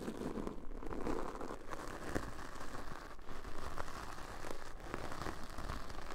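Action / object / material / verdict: scrape / foam microphone windscreen brushed with plastic bristles / foam / none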